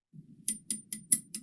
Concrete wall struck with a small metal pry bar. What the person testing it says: knocking on a concrete wall with a little little tiny pry bar and you can hear it solid